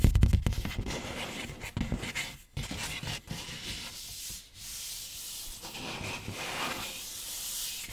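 Fingertips and short nails tap and scratch across the top and front of a large, hollow printed cardboard PS5 console box lying flat in front of the mic. A flurry of quick, low, hollow taps at the start gives way to steady, bright scratching and rubbing over the cardboard surface.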